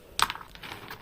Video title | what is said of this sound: Kahit Sick ayaw Paawat ? Cleaning time ´Rats in our Stock Room 😱 | Pag kumakalog po yan, ibig sabihin yan, maganda talaga.